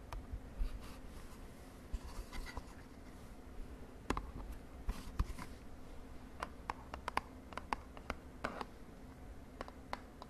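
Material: Cardboard.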